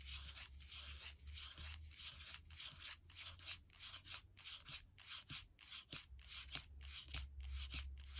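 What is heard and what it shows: Fingertips and nails of one hand scratch and rub the aluminum palm rest to the right of the trackpad on a gold MacBook Air, a thin, hollow, closed-body aluminum laptop. A soft, bright, papery scraping repeats in quick, uneven strokes over a faint low hum, with the strokes separated by brief pauses.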